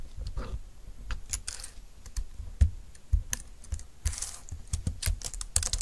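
Both hands type with their fingertips on a compact, thin, dark-green plastic Bluetooth keyboard lying on a desk mat. The result is a quick, uneven run of short, soft keystrokes with dull low thumps and bright, crisp clicks. Each stroke dies away almost instantly, and a few keystrokes land harder than the rest.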